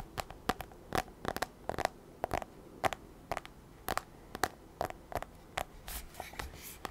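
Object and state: Aluminium tablet back tapped.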